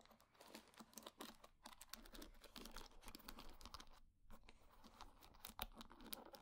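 A wooden hair brush with wooden pin bristles is held in hand while long nails scratch and flick through the wooden bristles. The result is a dense stream of short, dry clicks and raspy scratches with bright crackle. There is a brief pause near the four-second mark.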